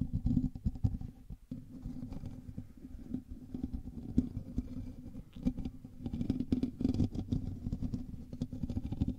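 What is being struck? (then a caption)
Metal mesh microphone grille. Both hands scratch the hollow metal mesh grille of a black USB microphone with fingertips and nails. The result is a continuous, dense rasping and rumbling with many rapid scrapes, heavy in the low end with a faint hum near 250 Hz. It comes in bursts that swell and ease over the length of the clip.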